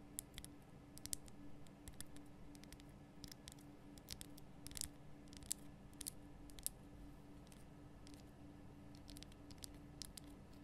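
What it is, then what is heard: Rock salt lamp tapped with nails. Long nails and fingertips tap the sides of a large, rough, glowing pink Himalayan rock salt lamp made of a solid salt block. Quiet, sharp, bright clicks and scratchy taps come in irregular bursts, each dying away almost instantly. A steady low hum and faint hiss run underneath throughout.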